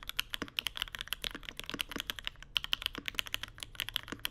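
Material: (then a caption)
Plastic. A Mode Sonnet mechanical keyboard with Vermilion Bird switches, an aluminum plate and white plastic keycaps, resting on a deskmat on marble, is typed on continuously with the fingertips of both hands. About 35 short, bright, clacky keystrokes follow one another in a quick, uneven rhythm, each with a sharp high click centered near 3 kHz and almost no ring.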